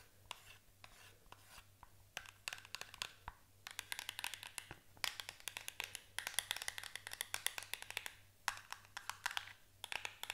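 Long nails scratch and tap across the faces and corners of a small paperboard product box, making rapid bursts of dry, bright clicks and scratchy rasps that stop instantly with no ring. A faint steady low hum sits underneath throughout.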